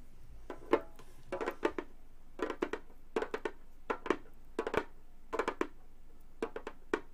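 Hands wearing long gold metal claw fingertips tap and drum rapidly on the textured synthetic head of a round, hollow Remo frame drum about 30 cm across. About 25 short, dry taps land in quick clusters, each with a hollow, mid-pitched body around 355 Hz and a brief bright click from the metal tips. Each tap dies away almost at once, leaving quiet gaps between the bursts.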